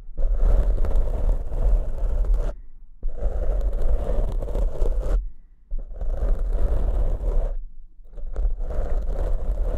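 Fingertips of both hands scratch two matching large black foam windscreens, made of soft porous foam, on studio microphones. The result is a dense, rumbling scratch heavy in the low end, with a crackly texture above it. It comes in four sustained bursts separated by brief pauses.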